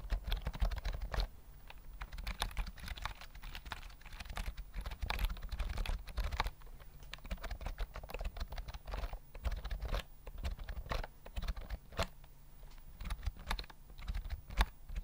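A full-size white plastic keyboard with round mint keys and a hollow body is held near the mic and typed on with fingertips. Steady, rapid typing produces short, dry clacks with a deep, hollow low-end thump under each keystroke and a faint bright click on top. The sound dies away almost instantly after each press.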